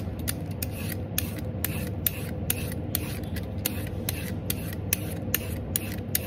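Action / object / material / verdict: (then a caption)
scrape / raw carrot scraped with a vegetable peeler / carrot / none. A black-handled vegetable peeler scrapes strips along the length of a whole, solid raw orange carrot held in one hand over a tub of peelings. Each quick, bright scraping stroke lands in a steady, rapid rhythm over a constant low rumble.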